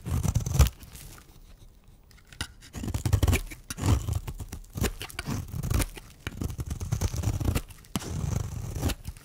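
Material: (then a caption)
Soap. A metal blade shaves flakes off a solid, dry, round pink-and-white striped bar of soap held in the hand. Bursts of rough, gritty scraping come in repeated strokes with short pauses between them. The sound is dominated by a low, dull rumble, with faint crisp edges at the start of each stroke.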